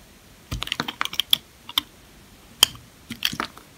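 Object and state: Dry old soap bar shaved with a knife.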